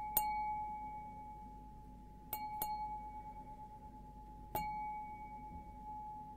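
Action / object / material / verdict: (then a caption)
flick / stemmed glass goblet / glass / none. An empty stemmed glass beer goblet with a green logo, held upside down, is tapped four times with a fingernail. Each tap gives a sharp, bright click followed by a clear ringing tone near 850 Hz with a fainter higher overtone. The ring fades slowly over the following seconds.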